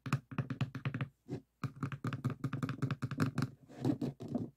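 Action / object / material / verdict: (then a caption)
tap / stacked plastic reusable cups / plastic / none. Fingertips and nails tap and patter on the sides of two upside-down stacks of hollow, empty white plastic reusable cups on a table. Quick bursts of dull, hollow clicking and thunking play in uneven clusters, with a brief pause near the middle. The taps stay close and quiet, with short, dry decays.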